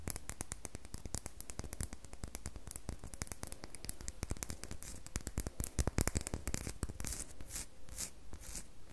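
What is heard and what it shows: Long manicured nails scrape the surface of a solid, rectangular, unwrapped red bar of soap held in the hand. The result is a rapid, steady stream of dry, crisp scratching clicks, with a few louder, brighter strokes toward the end.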